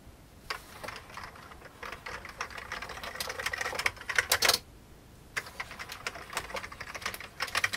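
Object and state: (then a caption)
Plastic computer keyboard being typed on. Fingertips press the keys of an old beige plastic computer keyboard in a steady run of quick, bright, dry clicks with almost no low end. The typing builds to a louder flurry near the middle, stops for a brief silent pause, then resumes at the same brisk pace.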